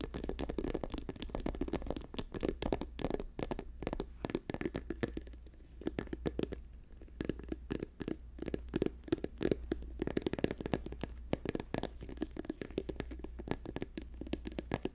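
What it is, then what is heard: Plastic squeeze tube. Fingernails rapidly tap and scratch along a hand-held, hollow orange and white plastic lotion tube with a cap, which looks partly full. The result is a dense, fast run of short, dull clicks and scratchy rasps, mostly in the low-mids, over a steady low hum throughout.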